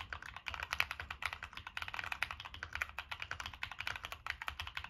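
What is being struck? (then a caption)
Mechanical keyboard with plastic keycaps and metal case. Fingertips type rapidly on a Monsgeek M1 mechanical keyboard with NK Cream switches, a dark metal case and purple and black plastic keycaps. About 37 crisp, bright clacks follow one another in a steady run, each dying away almost at once with little low end.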